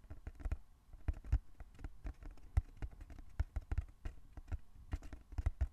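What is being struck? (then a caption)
Small closed cardboard box. Fingertips tap in a quick, uneven patter on the sides of a small, closed, hollow brown cardboard box held in both hands. Each tap is a short, dull, low thump that dies away almost at once, with no bright ring.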